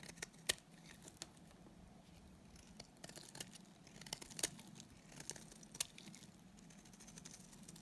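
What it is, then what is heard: Dry bar soap being shaved. A solid, dry green bar of soap held in the hand is shaved with a utility knife blade. Soft, bright scraping strokes are broken by sharp, crisp ticks and crackles as the flakes come away. The sound is quiet, with a faint low hum underneath.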